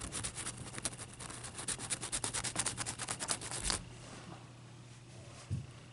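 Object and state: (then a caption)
Clear ice block scratched. Long nails scratch and tap a single solid clear ice cube, held in the hand and then set on a towel. Quick, bright, rasping strokes repeat in a rapid, uneven rhythm for almost four seconds, then stop into a quiet hush broken by one soft low tap near the end.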